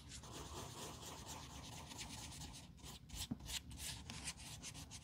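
A small tan sanding block is rubbed and scratched across the toe cap of a black leather Blundstone Chelsea boot held in gloved hands. The boot is hollow and has a thick rubber sole. The result is a steady, dry, bright rasping scrape with quick short strokes and a low murmur underneath, possibly from background music.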